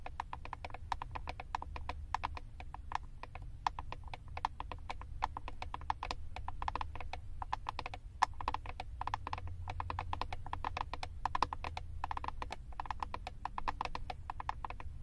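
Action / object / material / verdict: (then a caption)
tap / plastic eyeshadow palette / plastic / none. Long acrylic nails tap and scratch rapidly across the back of a flat, hand-held plastic eyeshadow palette with a label on it. The result is a dense, continuous stream of short, dry clicks with a hard tone around 1 kHz, over a steady low rumble.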